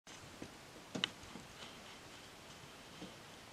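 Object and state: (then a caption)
Varnished wooden tabletop tapped with nails. Long painted acrylic nails tap and click on a flat, solid wooden tabletop with a glossy varnish. Soft, dry clicks with a bright tone near 3 kHz stand out from a quiet, hissy background. The strongest pair lands around the one-second mark, and each click dies away almost instantly.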